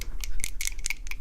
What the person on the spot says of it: you shake it and it's like liquidy